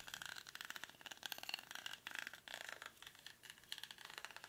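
Short fingernails scratch the weave of a hollow, cylindrical woven rattan or reed basket held in both hands. The result is a dense run of quick, dry, bright scratching crackles with almost no low end, rising and falling in short bursts.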